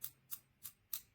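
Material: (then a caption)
Aluminum. The bluish-green main body of a PGYTECH camera clip for a backpack shoulder strap or belt, apparently anodized aluminum, is tapped four times in quick succession. Each tap is a short, bright, high-pitched metallic tick that dies away almost instantly, and it sounds like metal, unlike the plastic back plate.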